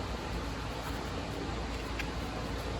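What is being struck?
Nothing is struck.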